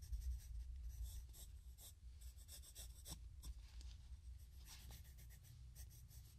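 A graphite pencil shades and draws across a page of a spiral-bound paper sketchbook lying flat on a wooden table, working on a pencil portrait in progress, with an eraser and a microphone nearby left untouched. Steady, irregular bursts of bright scratching and rubbing of lead on paper sit over a constant low hum. The strokes come in quick, uneven succession with no pause.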